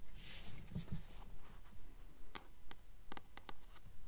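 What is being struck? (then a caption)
Paperback book with glossy paper cover. Long nails tap and scratch the glossy front cover of a blue paperback copy of "The Titan's Curse," a solid paper book held upright with its cover facing forward. Soft, brushing scratches come first over a low rumble, followed by crisp, dry taps that die away quickly in a quiet, close setting.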